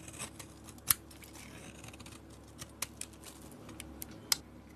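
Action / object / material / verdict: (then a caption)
scrape / bar of soap / soap / none. A utility blade carves curly shavings from a solid peach bar of soap with a black coated edge, held in hand. Quiet, bright scraping is broken by a few sharp, crisp clicks as the blade cuts, each dying away almost instantly.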